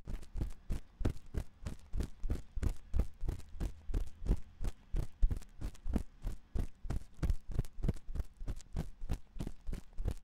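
A thin metal ear pick scratches inside the ear canal of a white silicone ear on a 3Dio binaural microphone, which is held in the other hand. Quick, closely spaced scratching strokes come through as dull, thumping rubs with a deep low rumble. Each stroke ends in a brief bright hiss.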